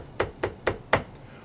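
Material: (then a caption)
Plastic. A deformed plastic foot orthotic is held with a thumb in the center of the heel and an index finger about an inch from the edge, and the end of the plastic is tapped. Four short, sharp clicks are heard as the shell rocks, which shows it is deformed. It is then heated to reshape it.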